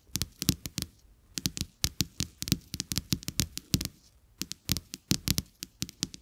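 Fingertips and nails of both hands tap two thin, solid, flat coated-paper playing cards with a checked back, lying side by side on a carpet. The taps come as quick, dry, irregular bursts, each combining a soft low thud with a bright papery tick, with brief pauses around one second and four seconds. Every tap stops almost instantly, with no ring.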